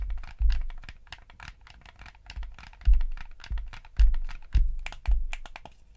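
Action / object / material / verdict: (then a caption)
tap / plastic game controller / plastic / none. Thumbs rapidly press the buttons and work the stick on a yellow hollow plastic gamepad. The result is a quick, irregular stream of bright plastic clicks and taps over soft, low thumps, with a few louder presses standing out.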